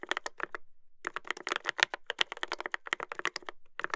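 Fingertips type continuously on a Dolphin 2021 mechanical keyboard with a brass plate and plastic keycaps. Rapid, sharp clacks ring out as short, bright keystrokes with little low end, broken by a brief pause near the start before the quick typing resumes.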